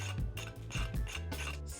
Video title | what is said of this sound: Trying NEW ASIAN FOOD at COSTCO 2024 Part 2! (kimbap, sago, chicken katsu, viet coffee, lumpia) | just listen to how crispy this is